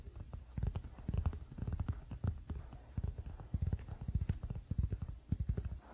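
Fingertips of both hands quickly tap the solid wooden back of a wooden paddle hairbrush lying flat on a blanket. The result is a rapid, uneven run of soft, dull, low thuds with almost no ring, continuing through the whole clip.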